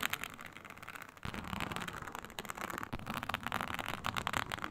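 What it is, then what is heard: Snakeskin-textured faux leather sheet. Long nails scratch vigorously across a flat, iridescent, snake-scale synthetic leather mat with a snakeskin texture. The result is a dense run of rapid, dry, raspy scrapes centred in the upper mids with bright edges, with little low end. A brief lull near 1.2 seconds is followed by louder, steadier strokes.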